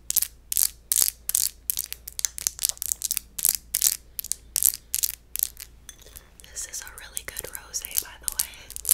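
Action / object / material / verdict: scrape / textured glass wine bottle / glass / empty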